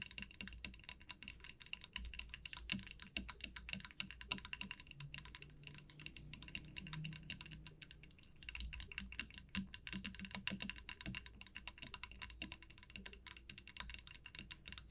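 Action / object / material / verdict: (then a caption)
tap / wooden comb tapped and scratched with fingernails / wood / none. Long painted nails tap and scratch along the body and teeth of a flat, solid light-wood wide-tooth comb lying on a grey felt mat. The result is a quiet, continuous stream of rapid, crisp clicks and dry ticks with a bright edge around 2.8 kHz. Each tap dies away almost instantly.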